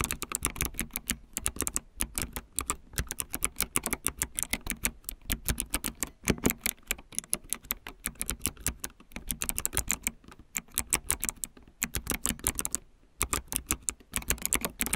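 Fingertips of both hands rapidly type on a solid, full-size backlit plastic mechanical keyboard with white plastic keycaps. Dense bursts of short, sharp clicks and clacks with a bright edge run continuously, broken by a few brief pauses.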